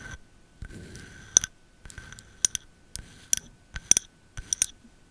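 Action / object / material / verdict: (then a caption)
tap / wax-filled glass candle jar / glass / none. A medium glass candle jar filled with white wax, with a paper label and a thick base, is tapped on its side and underside with long metal nail caps. About ten sharp, bright clicking taps come at an uneven pace, each with a very short high glassy ring and almost no low end.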